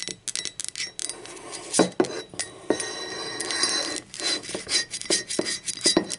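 Long acrylic nails tap the body and handle of a hollow, blue speckled ceramic mug, first lying on its side and then turned upside down. A quick, uneven run of bright clicks and clinks follows, each dying away almost at once, with a few louder, sharper taps standing out.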